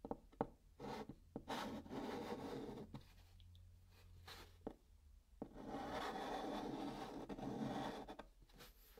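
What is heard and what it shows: A white chalk stick writes numbers on the flat top of a brown cardboard box. Dry, scratchy strokes come in uneven bursts with brief sharp taps and quiet pauses between them, over a faint low hum.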